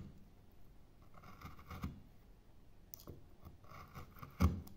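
A metal gouge cuts into a light, pale solid-wood carving blank that already bears relief carving. The sound is a series of quick, soft cutting and scraping strokes, mostly dull and low with faint scratchy edges. Near the end comes a sharper, louder cut.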